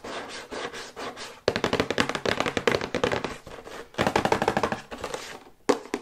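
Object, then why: Printed paperboard box. Long white nails tap quickly on the front and back panels of a hollow, medium-size printed paperboard electric toothbrush box held upright. Softer, muffled tapping gives way to bursts of rapid, crisp, hollow clicks with a papery rattle around 490 Hz. Each tap stops almost instantly, and a few sharper taps close the clip.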